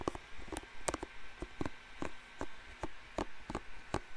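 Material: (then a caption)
Plastic. Fingertips and nails scratch and rub the dense bristles of a hand-sized blue plastic paddle hairbrush held close to the microphone. Short, crisp scratchy bursts repeat at an uneven pace with a quiet low rumble between them, each burst dying away almost instantly.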